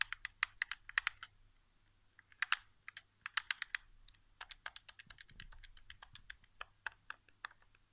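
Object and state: Plastic game controller.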